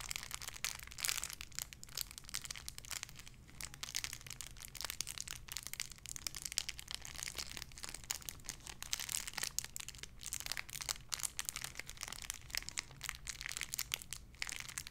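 A small clear plastic bag holding a white-and-pink squishy toy is crinkled and squished with fingertips and long red nails. Dense, bright crinkling and crackling runs throughout with rapid, sharp snaps over a faint steady low hum.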